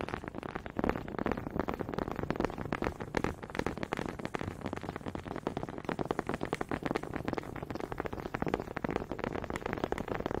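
Two small solid wooden honey dippers, held by fingers with long pink nails, are clacked together near the mic so their grooved heads knock against each other. The result is a quiet, steady stream of rapid, dry wooden clicks and taps that stop instantly with no ring, sitting mostly in the low-mid range with little bright top.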